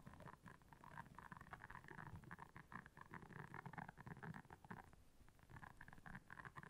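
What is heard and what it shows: Long nails scratch across the soft bristles of a round, flat, solid blue silicone scrubber pad lying on black fur. The result is a quiet, dense, continuous scratching with a low rumbling body and rapid bristly flutters, with a tonal band around 1–2 kHz. It pauses briefly near the five-second mark.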